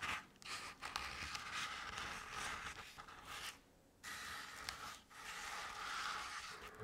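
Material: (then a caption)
Crepe paper. Long decorated nails scratch along the ridges of a medium-sized round decorative jack-o'-lantern covered in crinkled orange crepe paper with black paper face cut-outs. The result is a steady, bright, papery scratching rustle with brief dips between strokes and a near-silent pause just before the scratching resumes.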